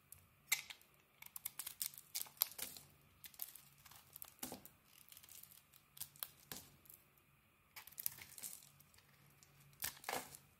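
A small metal blade scrapes and carves curls off a hand-sized solid bar of pale soap with a thin green outer layer, held in one hand, as flakes crumble away. The result is quiet, bright, crisp scratching and crackling in short irregular bursts, with brief sharp peaks between softer stretches of scraping.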